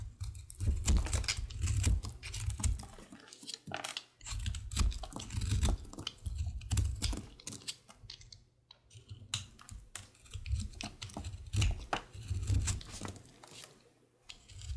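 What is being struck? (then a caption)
Bar of soap scraped with a utility knife. A utility knife scrapes thin shavings off a solid, pale green, star-shaped soap bar held in the hand. Dense bursts of crisp, bright scraping clicks come in waves with brief pauses, over a steady low rumble.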